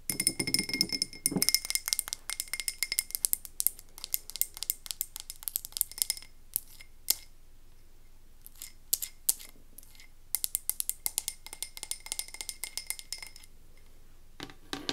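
Long nails tap and scratch quickly on a medium frosted glass candle tumbler filled with wax, moving over both the glass and its label. Dense bursts of bright, dry clicks and scratchy ticks come in quick runs separated by brief quieter gaps, with almost no ring after each hit.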